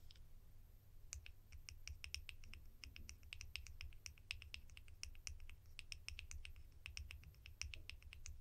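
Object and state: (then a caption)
Plastic lids. Fingers tap plastic lids from a collection in quick, irregular succession. Each tap is a short, bright click that dies away almost at once, over a steady low hum.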